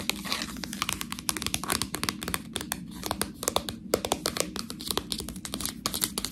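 Fingernails scratch the sealed edge of a full, clear plastic bag of fresh tortellini and squeeze the pasta inside. The result is a steady stream of quick, bright plastic crinkles and crackles, with short clicky bursts over a faint low hum.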